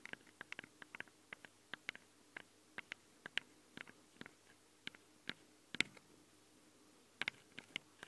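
Long nail tips tap and click on the metal microphone capsules of a handheld recorder. Around 25 short, bright clicks come in irregular bursts, each dying away almost instantly, over a quiet background with a faint low hum.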